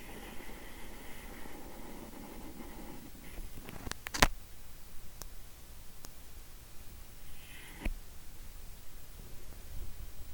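A strawberry-flavored Lip Smackers lip gloss tube is tapped, giving a few faint, short clicks that die away almost instantly, with one sharper tap standing out. A soft, steady hiss and low rumble fill the quiet space between taps.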